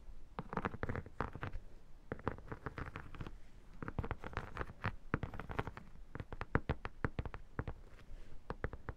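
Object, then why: Textured vinyl photo album. Long nails tap and scratch the textured, holographic vinyl surface near the far edge of an iridescent photo album lying flat. The result is a quiet, fast, irregular run of short, dull clicks and scraping rasps, heavy in the low end. Each tap dies away almost instantly.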